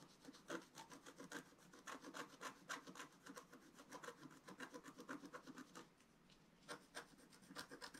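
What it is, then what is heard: Scratch-art paper being scratched. A wooden stylus scratches across a flat, black-coated scratch-art paper sheet in quick, uneven strokes, giving a dry, rasping sound with bright, airy edges. The scratching runs steadily and pauses briefly near the end before a few more strokes.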